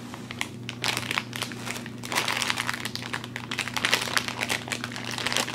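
A medium bag of Pascall Pineapple Lumps, thin glossy plastic film full of soft chewy candies, is held in both hands and squeezed and rubbed with the fingertips. It makes a dense, irregular, bright crinkling and crackling that swells and fades in bursts over a faint steady low hum.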